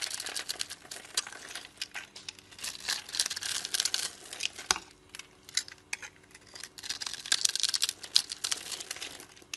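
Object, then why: Bar of soap. A metal blade scores the surface of a solid multicoloured striped soap bar held in the palm, cutting it into small cubes that crumble and flake off. Dense, bright crinkling and scraping sounds, made of many quick, crisp clicks, come in bursts with a short quieter gap partway through.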